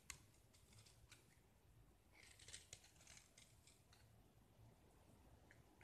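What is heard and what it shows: A small, solid gypsum plaster disc painted green is held by hand and scraped with a utility knife blade, peeling off white gypsum shavings. Quiet, dry, bright scratching strokes are heard, with a few sharper ticks and a low background hum.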